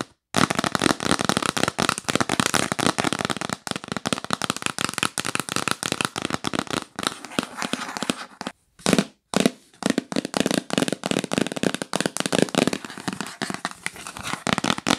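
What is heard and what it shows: Long nails tap rapidly on a yellow printed cardboard gift box, first while it is held and then while it lies flat. The result is a dense run of dry, crisp clicks and papery knocks with no ring. The tapping stops briefly near the nine-second mark before starting up again.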